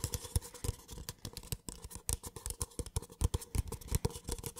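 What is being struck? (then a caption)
Small paper cup. Fingertips tap and scratch the wall and base of a small, empty, hollow white paper cup held close to the microphone. The result is a fast, uneven stream of dry, soft taps and scrapes. They have a hollow low thump underneath and brief bright papery edges, with almost no ring after each touch.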